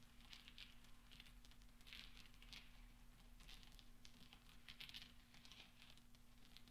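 Fingertips and nails stir and clink a pile of small solid steel pachinko balls resting on black velvet. Soft, bright metallic clicks and tinkles come in scattered clusters over a steady low hum, each ringing only briefly.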